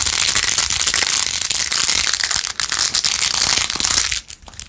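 Long acrylic nails fast-scratch and tap across the rows of pink plastic pearl beads glued onto a handheld, rose-gold-edged plastic phone case. The result is a dense, bright rattle of rapid clicks and scratches with almost no low end, a brief dip midway, and a drop to quieter scattered ticks near the end.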